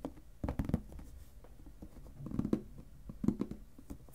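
Fingertips tap the sides of a clear plastic lidded storage box filled with paper, then tap and scratch across its lid. The taps are soft, low and muffled, coming in short bursts with a faint scratchy rustle between them and no bright ring.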